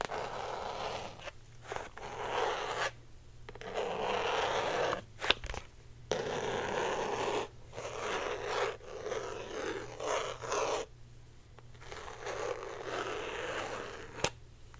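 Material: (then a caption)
Plastic. Long painted nails scratch a small, hand-sized clear plastic box or case, likely hollow and printed with a colorful lollipop pattern, held in both hands. Bursts of dry, rasping scratching with a bright edge are separated by short pauses, with a couple of sharp tapping clicks along the way.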